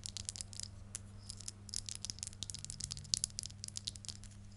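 A small metal necklace, with a blue stone heart pendant in a rhinestone frame on a rhinestone chain, is worn on the neck and shaken and handled by fingertips and long nails. It gives a quiet, rapid series of bright, dry clicks and tinkling rattles with almost no ring. A steady low hum runs underneath.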